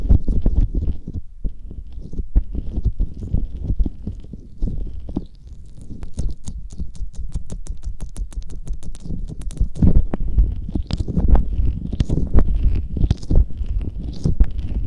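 Fingertips and finger pads rub and massage a pair of soft, hollow silicone ear covers coated in aloe gel on a binaural microphone. The result is a close, muffled stream of low, squishy rubbing and wet patter, with a quick run of sharp, bright sticky ticks in the middle.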